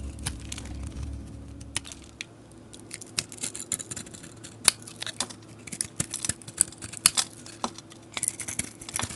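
A metal blade scrapes the glitter and foil-flake coating off a solid oval soap bar held in the hand, working down to the white soap. Sharp, bright scratchy crackles and short rasping strokes come in quick, uneven bursts over a faint steady low hum, with no ring after each stroke.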